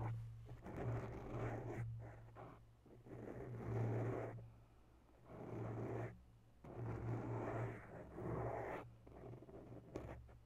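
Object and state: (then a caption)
Foam microphone windscreen being scratched. Bare long nail tips slowly scratch the lower sides of a grey foam microphone windscreen, making soft, rough, scratchy bursts with brief quiet pauses between them. A steady low hum sits underneath throughout.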